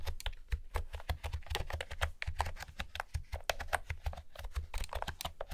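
Fingertips with long manicured nails type on a pastel blue plastic retro keyboard with round typewriter-style keys and a hollow plastic body, resting on a wooden table. A rapid, steady stream of short, sharp clacks is heard, each with a low hollow thump underneath and a quick bright click on top. The keystrokes die away almost instantly.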